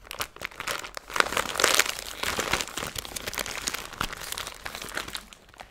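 A small clear plastic zip-top bag full of silver glitter or foil bits is held in both hands and crinkled and squeezed between fingers with long blue nails. The result is a dense, bright, continuous crinkling with almost no low end, swelling louder in the first half before settling into steady rustling.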